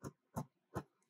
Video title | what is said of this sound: DAY 14 - Afternoon - SCORE & BAKE DOUGH (Brown Rice Flour Gluten Free Sourdough Starter) | when it sounds like that you know it's done so if it doesn't give you that hollow sound when you tap on the bottom